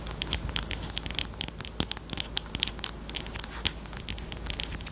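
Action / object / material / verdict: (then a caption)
tap / plastic highlighter / plastic / none. A small, hollow pink plastic highlighter with a black cap is held in both hands and tapped rapidly with long pointed nails on the barrel and cap. The result is a quick run of sharp, dry clicks, bright and crackly, centred around 3.2 kHz, over a low steady hum. Each click dies away almost instantly.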